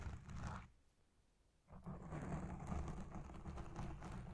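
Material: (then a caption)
Foam. Long red nails and the fingertips of both hands scratch and pinch a black foam windscreen dome on a Blue Yeti Pro microphone. The result is a dense, muffled rumble of scraping and crackling, mostly deep and low. It drops to near silence for about a second before resuming steadily.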